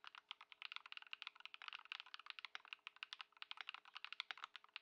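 A white Ducky One 2 SF mechanical keyboard with plastic keycaps, modded with Poron foam and swapped Lumia Matcha switches, sits on a dark mat on a wooden desk while both hands' fingertips type continuously. About 32 quick, crisp keystrokes click in a steady stream, each short and bright with almost no low end and nearly no ring after each press.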